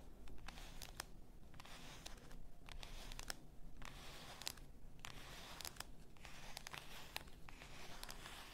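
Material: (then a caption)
Glass. Long nails tap and scratch the shoulder near the neck of a full bath salt bottle, likely glass. Quick, sharp, bright clicks with almost no ring sit over a soft, steady scratching rustle and a faint low rumble, all at a quiet level.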